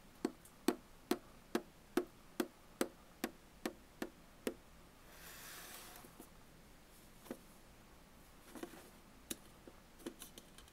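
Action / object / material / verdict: tap / aluminum bottle can / aluminum / none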